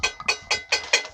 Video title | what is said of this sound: Cat c7 fuel filter replacement/install | Still hollow, so we gotta let it get primed here.